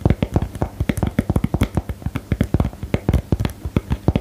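Long nails tap rapidly on a small, hollow, rectangular cardboard box for the "Geheimakte" card game, held up in the air. About 28 dull, hollow taps with a low thump around 105 Hz come in an uneven stream. Each dies away almost instantly, with very little brightness.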